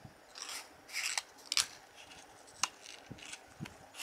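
A fingertip with a red-painted nail rubs and flexes the end flap of a small, hollow printed cardboard playing card box held in one hand. Bright, dry scratching and rasping rustles come in short bursts, with a few sharp papery clicks between them. The sounds are quiet and thin, with almost no low end.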